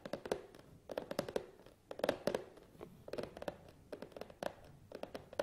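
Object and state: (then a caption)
Cardboard box tapped. Fingertips tap on the sides of a long, hollow cardboard tripod box, then fingernails tap on its top. Quick clusters of short, dry taps with a hollow, boxy tone around 550 Hz die away almost instantly.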